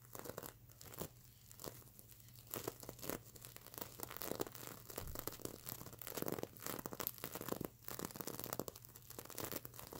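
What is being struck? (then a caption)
Plastic sequins on a stuffed pillow. Long nails on both hands scratch the plastic sequins of a stuffed mermaid unicorn sequin plush pillow. A dense, crinkly, crackling scratching comes in uneven bursts, with a faint steady low hum underneath.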